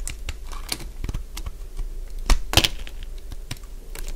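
A solid cream-coloured dry bar soap is shaved along its edges with a hand-held utility blade, producing a run of short, dry, crackly scrapes and crunches at an uneven pace. Two louder, brighter crunches stand out near the middle over a low background rumble.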